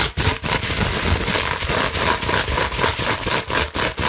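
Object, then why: Plastic bubble wrap sheet. A clear plastic bubble wrap sheet is held and bent in the hands while long nails scratch quickly across the bubbles. The result is a dense, continuous crackling and scraping with a bright hiss and a faint steady tone near 930 Hz, broken by brief quiet gaps.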